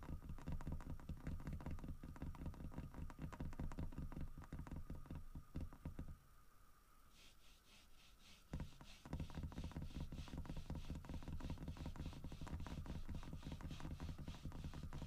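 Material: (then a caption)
Wood. Fingernails tap and scratch the grooved carved fur on the side of a large, solid carved wooden bear statue. Quick, uneven, low-pitched knocks and scrapes pause briefly midway, then resume with a brighter scratching texture.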